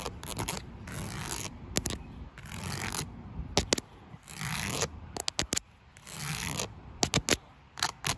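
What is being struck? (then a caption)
Perforated plastic panel. Long nails and fingertips tap and scratch across a flat black perforated plastic panel with a grid of small holes. Long, broad, bright scraping strokes alternate with clusters of sharp, quick clicking taps.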